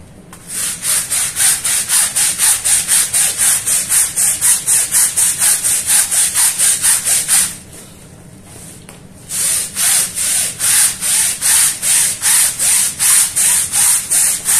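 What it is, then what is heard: Woven rug being scrubbed. A long-handled push broom with green bristles scrubs back and forth over a small, wet, soapy, patterned woven fabric rug lying flat on a stone floor. The bristles make a steady series of bright, rhythmic, scratchy strokes on the fabric. The strokes pause for about two seconds midway, then resume at the same pace.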